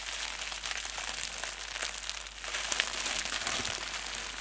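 A small wad of clear plastic bubble wrap with air-filled hollow cells, wrapped around a small microphone, is squeezed and crumpled in both hands by fingertips with painted nails. It makes a steady, bright, dense crinkling with almost no low end. The crinkling grows a little louder and busier halfway through, with occasional sharper crackles.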